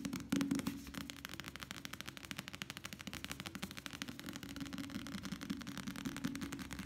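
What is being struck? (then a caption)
Softcover paperback book. A small, solid softcover paperback novel with a paper cover is held close and quickly tapped and drummed with the fingertips of both hands. A fast, steady stream of dry, papery taps runs throughout, with a low-mid thud and bright clicking edges. Each tap dies away almost at once.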